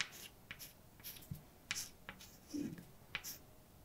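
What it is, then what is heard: Chalk writing on a chalkboard. A hand writes with white chalk on a large, dark, solid flat blackboard, scratching and tapping the surface. Short, bright, dry scratches and clicks come in quick bursts with quiet pauses between strokes, plus one softer, lower rub.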